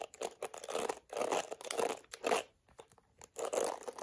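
A small plastic detangling hairbrush with black plastic bristles and a smooth yellow plastic back is scratched by long acrylic nails across the bristles, then tapped and scratched on the curved back. Bursts of dry, bright crinkly scratching alternate with brief pauses, and the sound is close and crisp with almost no low end.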